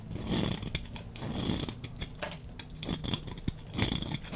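A utility knife blade scrapes powdery dry shavings off the surface of a solid rectangular teal soap bar with white marbling and white stripes, held in hand. The result is a steady run of crisp, dry scraping strokes with bright crackling and a soft low undertone.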